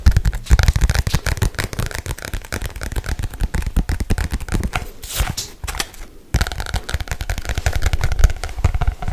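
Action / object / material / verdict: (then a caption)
tap / paperback book with glossy cover / paper / none. Fingernails tap and scratch rapidly on the glossy cover of a black paperback book held close to the microphone. Dense, dull low thumps patter continuously, with a brighter, hissy scratching stretch around the five-to-six-second mark and a brief pause just after. The tapping then resumes at the same fast pace.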